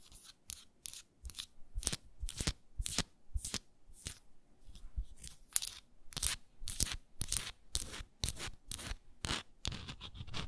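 Long nails rub and scratch a small frosted glass moisturizer jar and its round wooden lid. The result is a quick, uneven series of short, dry, bright scratching strokes with no ring after each one. The whole clip stays quiet and close.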